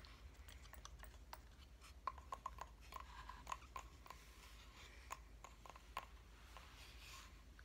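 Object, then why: Flat wooden reindeer cut-out. A hand-held flat cut-out reindeer decoration made of solid light wood is tapped with fingernails. The result is an irregular series of sharp, dry clicks with a faint ring near 1 kHz that dies away almost at once, over a quiet low rumble.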